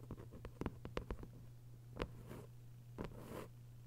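Long white nails tap and scratch a thick hardcover novel with a paper dust jacket, lying flat. About nine quick, dry taps with almost no ring come in a cluster and then singly, mixed with soft papery scratches over a steady low hum.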